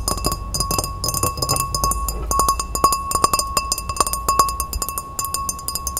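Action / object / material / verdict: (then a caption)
tap / glass pilsner glass / glass / none. Long red-painted fingernails rapidly tap and scratch a tall, empty, clear pilsner-style glass as it is held and tilted. Quick, bright clinks ring at a steady glassy tone of about 1.1 kHz, mixed with a high, dry scratching hiss and a soft low rumble underneath.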